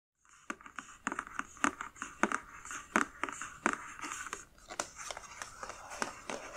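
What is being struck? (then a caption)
Cardboard box. Long dark-painted nails tap and scratch the lid of a closed, medium black printed cardboard Witch Casket subscription box (August 2020, "Courage") with a keyhole emblem, while the hands grip its sides. A quick, irregular run of sharp, dry clicks stands out over a steady, bright scratching hiss. Each tap stops almost instantly, with no ring.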